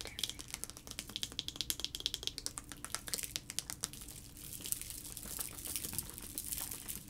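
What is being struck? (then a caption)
Plastic tube filled with liquid. A clear plastic sensory tube, about 20 cm long with blue end caps and filled with liquid and small colorful floating shapes, is held in both hands and tapped with fingertips and nails, then shaken. Rapid, bright, sharp clicks and taps come first, then give way to a softer, hissy swishing of liquid in the second half.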